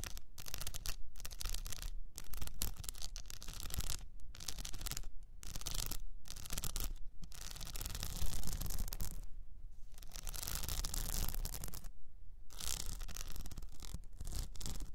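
Long nails scratch near the top and sides of an upright cylinder wrapped in blue plastic rhinestone mesh. The result is a dense, raspy, gritty scratching in bursts, broken by short silent pauses, with a steady low rumble underneath.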